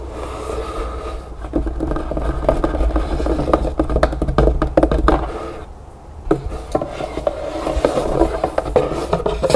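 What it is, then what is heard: Cardboard box, scratched and tapped. Long green-painted nails scratch and tap the green paper lining and inner walls of an open, empty, floral-printed cardboard keepsake box. The sound is a steady, dry papery scraping dotted with quick, muffled taps. It sits mostly in the low and middle range, with almost no bright edge and no ring after each tap.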